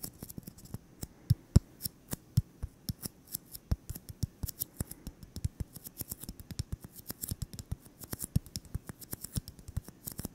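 A solid white styrofoam ball, about 8 cm across and held in the hands, is tapped and scratched with fingertips and short nails. Dozens of quick, dry, irregular taps sound as soft low thumps with bright clicky edges, each dying away almost instantly, over a faint scratchy hiss.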